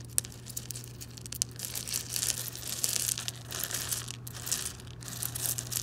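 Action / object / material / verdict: scrape / loose small gravel stones / stone / none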